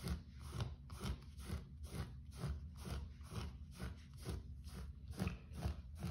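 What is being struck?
Short-pile carpet floor.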